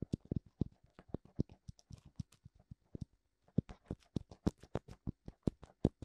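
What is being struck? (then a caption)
Silicone ear of a binaural microphone. Fingertips tap and scratch both white silicone ears of a black binaural microphone. About 28 quick, dull, bass-heavy thumps sound with bright flicks and faint scratching between them. There is a brief pause near the middle before the tapping resumes.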